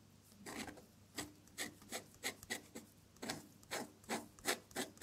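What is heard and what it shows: A metal dip-pen nib scratches across a sheet of drawing paper, making red ink petal strokes with the nib in close contact. It produces a series of short, dry, raspy scratches with bright, airy highs, each stroke brief and separated by quiet pauses.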